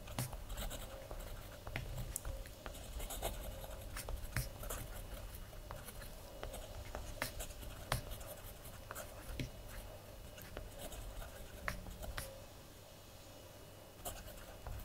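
A blue ballpoint pen scratches and writes across a collaged paper page of a spiral-bound kraft paper journal lying flat on a wooden table. Soft, quiet scratching runs throughout, with short, bright ticks from the pen strokes over a low background rumble and a faint steady hum.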